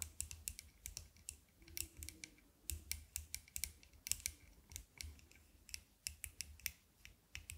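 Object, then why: Metal-frame sunglasses with glass or plastic lenses. Long nails tap and click on the thin metal frame and dark lenses of small aviator sunglasses held close to the microphone. The result is a steady run of sharp, bright clicks with a soft low thump beneath some of them, and each click dies away almost instantly.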